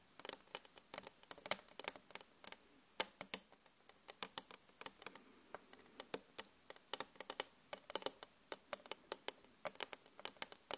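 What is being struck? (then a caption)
Flat glass mirror. Long acrylic nail tips from both hands tap fast on a flat glass vanity mirror, making dozens of short, bright, clicky taps in quick, irregular bursts. Each tap stops almost instantly with no ringing and no low end.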